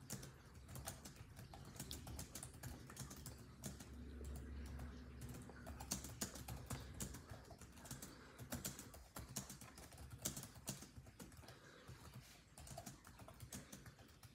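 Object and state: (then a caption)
Plastic laptop keyboard typing. Fingertips of both hands type rapidly on the built-in keyboard of a grey laptop, its dark plastic chiclet keys giving quick, dry clicks. The bright taps come in a fast, steady stream over a soft low rumble that swells in the middle of the clip.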